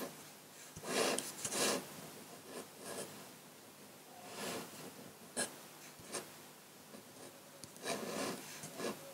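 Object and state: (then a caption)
Paper sheet scratched by a dip pen. A metal dip-pen nib in a wooden holder scratches fine lines for tree branches across a large flat sheet of white paper. Short, bright, raspy scratching strokes come in separate bursts with quiet gaps between them, light and airy with almost no low end.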